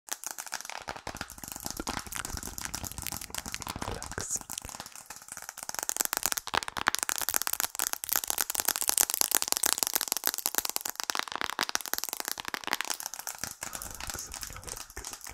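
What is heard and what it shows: Long acrylic nails tap quickly on the glass screen and back of a thin, solid, rectangular iPhone with a glass and aluminium frame, held in both hands. A dense stream of sharp, bright clicks runs throughout, with very little low end. The tapping grows louder and busier through the middle, then eases back toward the end.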